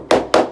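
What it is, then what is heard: Blown plaster. A hammer taps twice on wall plaster higher up the wall, giving two sharp, hollow midrange knocks that die away quickly with almost no low-end thud. The plaster is blown, soaked from a long-running leak and no longer stuck to the wall.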